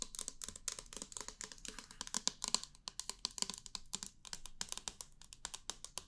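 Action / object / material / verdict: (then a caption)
tap / small clear plastic pump bottle / plastic / none. Long painted nails tap rapidly on a small, hollow, clear plastic foam pump bottle with a pink pump head. The bottle appears empty and is held in the hands. The taps make a dense run of short, dry, bright clicks with almost no ring and little low end.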